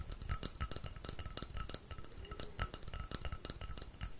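A long, hollow, painted wooden rainstick is held upright while fingertips tap and scratch along its length. The result is a quick, uneven run of soft taps with dull, low thumps, a faint steady ring in the upper midrange and light, bright scratching. Each tap dies away almost at once.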